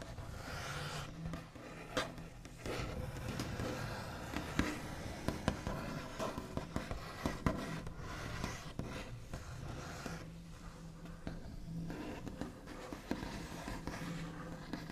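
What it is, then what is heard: Wooden tabletop, scratched and tapped. The backs of fingernails tap and scratch across a large solid wooden tabletop with a smooth white finish, with tracing strokes between the taps. Many short, sharp clicks stand out over a steady scratchy rustle and a faint low hum.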